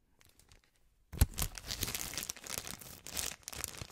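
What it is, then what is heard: Cellophane candy bag. A clear plastic cellophane bag of heart-shaped marshmallows is held up and flattened in the hands while fingertips crinkle, pinch and rub the thin film. After about a second of near silence with faint ticks, a sharp crackle starts the sound. Dense, bright crinkling and rustling then continues to the end.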